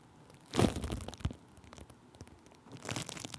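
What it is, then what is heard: Plastic bubble wrap. Thin clear plastic bubble wrap stretched over a microphone is pressed and rubbed with a wooden stick, making close, low crinkling and crunching. A loud burst of crackle opens, followed by a sharp crack, then softer rubbing and another round of crinkling at the end.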